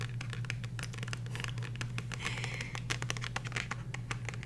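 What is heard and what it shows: Long nails scratch and tap the colorful card cover of a small, solid, glossy paperback book held in the hands. Quick, bright clicks and scratchy rasps come in a fast, uneven stream over a steady low hum.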